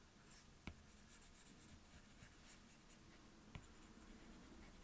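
A plastic stylus tip is drawn and scribbled across the glass touchscreen of an iPad, making a soft, writing-like scratching with faint bright hiss over a low, steady background. Two sharp taps of the tip on the glass stand out above the quiet scribbling.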